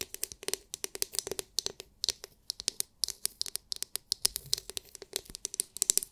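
Long nails tap and scratch the hard, clear, glitter-filled plastic dome of a palm-sized oval massage brush. The result is a fast, irregular run of dry, bright clicks that stop instantly, with very little low end.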